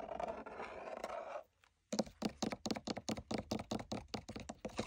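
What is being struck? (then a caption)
Tooled leather sword sheath. Fingertips and nails scratch and tap along the body and upper throat of a long, hollow, wall-mounted black tooled leather sword sheath with gold stitched lines, while a red sheath hangs nearby untouched. A steady, soft scratching is followed by a brief silence, then a rapid series of short, dull, hollow taps.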